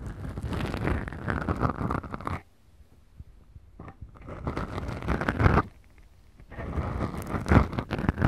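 Long, glittery, manicured nails on both hands scratch two small black foam windscreens on the mic capsules of a Tascam DR-40X recorder. The result is dense, rumbly, close-up scratching that is mostly low and muffled. It comes in three sustained bursts separated by two near-silent pauses.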